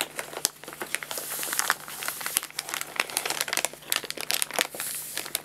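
An empty paper guinea pig food bag is rubbed with the hands while its top edge is folded and crinkled with the fingertips. Dense, bright crinkling and crackling runs throughout, with sharp snaps rising out of a steady rustle and almost nothing in the low end.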